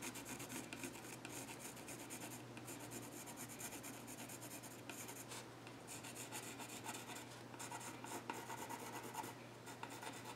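A yellow graphite pencil scratches lines across the flat top of a solid, dark-stained wooden child's stool. The result is a steady, continuous dry rasp with bright, hissy scratching over a faint low hum, with no clear pauses between strokes.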